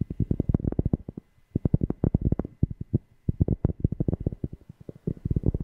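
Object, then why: Cork object. A cork object is tapped rapidly right next to a FIFINE K690 microphone, giving three runs of quick taps separated by brief pauses. Each tap is a deep, bassy thump centered low around 156 Hz, with almost no high content and no ring after each hit.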